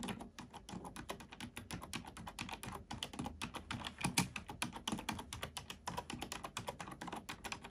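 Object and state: Plastic computer keyboard.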